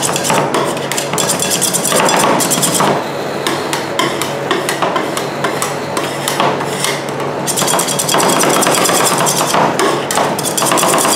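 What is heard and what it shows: Two metal spatulas with wooden handles, one in each hand, knock and chop repeatedly through a layer of Nutella ice cream mix onto a large, round, flat, solid stainless steel cold plate. The result is a rapid, uneven stream of bright metallic clacks and scrapes that continues throughout the clip.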